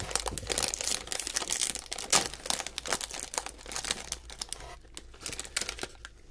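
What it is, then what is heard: Metallized snack bag torn open. A small blue metallized plastic snack bag with snacks inside is torn open by the fingertips of both hands and then held up. It gives dense, bright crinkling and tearing crackles, loudest in the first half and settling into softer, sparser rustling toward the end.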